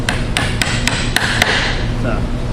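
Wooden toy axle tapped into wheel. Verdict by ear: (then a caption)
Seated. An axle is tapped with a hammer into a wooden toy wheel, making six sharp, bright hammer strikes evenly spaced over a low background rumble. The last strikes ring with a higher tone as the axle bottoms out, fully seated, which is the normal result.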